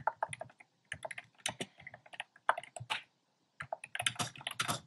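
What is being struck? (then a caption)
Plastic mechanical keyboard keys. Fingertips type on a compact plastic mechanical keyboard with a black plastic case and round pastel plastic keycaps. Quick, bright, clacky keystrokes come in bursts separated by short pauses, and each stroke stops almost instantly.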